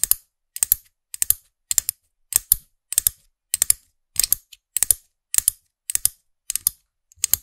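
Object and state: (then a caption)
Small plastic figurine pen toy tapped with nails. Long nails tap and scratch the top of a small, hard plastic orange-haired head on a black plastic stem of a figurine-topped pen toy, held close to the microphone. About thirteen short bursts of bright, crisp clicking and scratching repeat at a steady pace, each a quick cluster of taps that stops dead with no ring.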